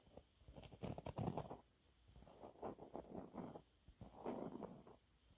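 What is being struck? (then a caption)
Cellulose sponge cloth. Fingernails scratch a thin, flat, yellow textured cellulose sponge cloth, making quiet, dry, rapid scratching and rustling. The sound comes in three clusters with short pauses between them, and the energy sits mostly in the low and middle range with little bright content.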